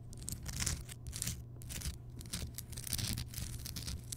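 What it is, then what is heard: Rock salt lamp. Fingertips and long nails tap and scratch the rough surface of a large, solid, lit Himalayan rock salt lamp, heard up close. Bright, gritty scraping bursts rise and fall over a steady low hum, with soft dull taps mixed in.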